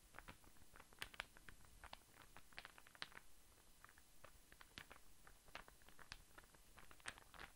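A small, light-coloured star-shaped interlocking burr puzzle that looks like wood is held in one hand and tapped and scratched with the fingertips and nails of the other. The result is a quiet, irregular series of short, dry, bright clicks and taps over soft scratching, with each tap stopping almost instantly against a low, faint background rumble.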